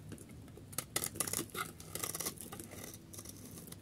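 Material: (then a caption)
Soap. A solid yellow bar of dry soap is held in the hand while its edge is shaved with a metal utility blade, throwing off crumbly shavings. A run of quick, dry, bright scraping cuts crackles over a faint low background, with the sharpest strokes bunched in the middle of the clip. Each cut stops short with almost no ring.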